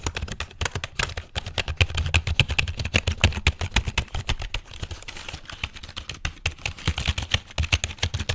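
A full-size, hollow black plastic computer keyboard is held vertically or tilted near the microphone while fingertips rapidly tap its keys and body. The dense run of short, dry clicks has a hollow low thump beneath bright plastic clatter, with brief bursts and slight lulls.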